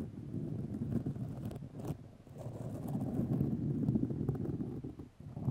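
Long nails scratch white fiberglass grid mesh tape wrapped around a microphone, making a dense, low rasping rustle. Quick, uneven strokes repeat close together, with a few brighter scratchy bursts and a brief dip before the scratching swells again.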